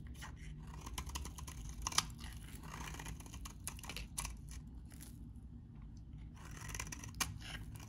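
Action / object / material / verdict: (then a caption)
scrape / bar of soap cut with a metal blade / soap / none. A metal utility knife blade shaves crumbly curls from a solid, hand-sized, very dry vintage bar of salmon-orange soap. The result is a steady run of crisp, crackling scrapes and short, bright crunches over a soft low rumble, with a few sharper snaps standing out.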